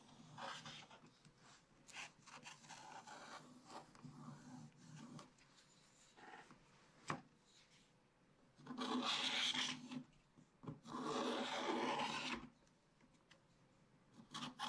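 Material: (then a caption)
Waxed paper. A wooden stylus held in the fingers scratches off the remaining black wax around a bear picture on a spiral-bound, wax-coated scratch-art paper page. Short, dry, rasping strokes come in uneven bursts, with two louder, longer, bright scraping passes near the end.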